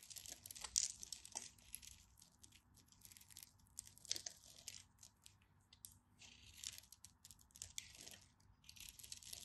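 A utility knife blade scrapes and carves crisp chips off the surface of a hand-sized, green and white striped solid bar of soap held in the fingers. The clip is a quiet series of bright, dry crunching and crackling scrapes, with almost no low end and sharp bursts that stop without ringing.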